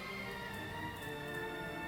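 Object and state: Nothing is struck.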